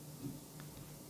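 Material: Nothing is struck.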